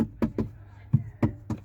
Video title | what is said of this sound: Sound Proofing (23) - Rear Door Panel Skin and Wiring - Main Cabin Part 2 | these bits are quite drummy around here